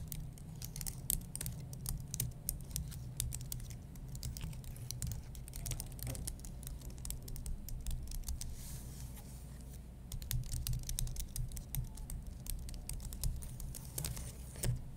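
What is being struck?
Aluminum and plastic computer keyboard.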